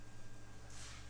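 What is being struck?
Nothing is struck.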